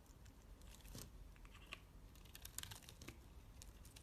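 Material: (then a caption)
Soap. A utility knife shaves flakes off the face and edges of a solid dark purple bar of soap. Quiet, dry scraping and crinkly, brittle cuts come in a rapid irregular stream, with brighter crisp snaps standing out over a low, steady rumble.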